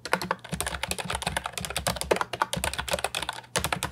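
Fingertips type rapidly on an Ajazz 308I compact, hollow plastic keyboard with round typewriter-style retro keycaps. A dense stream of short, bright clacks with a hollow low thump beneath them plays with no pause except a brief gap near the end.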